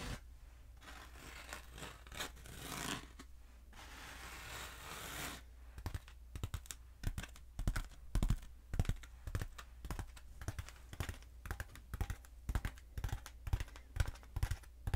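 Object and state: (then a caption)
Foam pool noodle. Long acrylic nails scratch and tap a long, black, hollow foam pool noodle that is held upright and then horizontal. The first five seconds are a soft, broadband scratching rustle, followed by dozens of quick, dry, irregular taps with very short decay, over a steady low hum.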